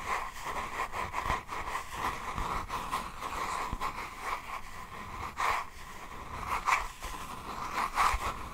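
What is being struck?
Faux leather notebook cover.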